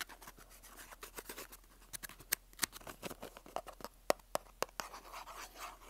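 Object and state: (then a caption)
Cardboard box of staples. Fingertips and nails scratch and rub a small rectangular printed cardboard box of staples with an orange and white label, held close to the mic. Soft, bright, papery scraping runs throughout, broken by irregular sharp taps and clicks that stop dead with no ring. The whole clip stays quiet and close.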